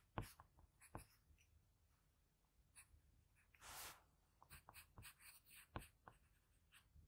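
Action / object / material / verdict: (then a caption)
scrape / paper sheet scratched with a graphite pencil / paper / none. A graphite pencil with a blue patterned barrel scratches small shading strokes on a flat sheet of drawing paper around the eye of a portrait. About fifteen quiet, dry scratches come in irregular bursts, with one longer, brighter scrape in the middle.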